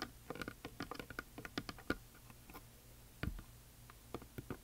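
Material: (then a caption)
Painted wood. Long nails and fingertips rapidly tap the painted surface of a large, flat, solid wooden heart plaque coated in glitter paint. The result is quick, dry clicks and ticks with very short decay, over a faint low hum. A brief lull is followed by a heavier tap with a soft low thump and a few more clicks.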